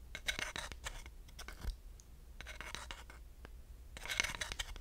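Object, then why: Wooden slotted hot pad and dowel. A wooden dowel stick scratches across the grooves of a flat, solid wooden slotted hot pad, and the board tilts slightly as it is scraped. The sound comes in three bursts of rapid, dry, bright ratcheting clicks centered around 2 kHz. Quieter separate taps and a low rumble fill the gaps between bursts.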